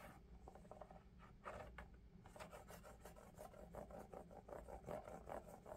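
Fingertips rub and scratch the upper of a pale lavender Crocs-style clog made of molded EVA foam with ventilation holes, held hollow and empty in one hand. Quick, uneven rasping scratches with a soft, mid-pitched squeak build over a steady low rumble, growing louder and denser toward the end.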